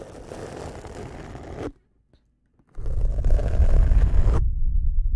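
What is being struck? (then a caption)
Feather badminton shuttlecock. A small, hollow white feather badminton shuttlecock with a cork-type base is held in one hand beside the microphone while fingertips rub and scratch its feather skirt. This makes a dry, scratchy rustling with a low, rumbling body. A first burst of scratching stops, about a second of silence follows, and a second, louder burst ends abruptly.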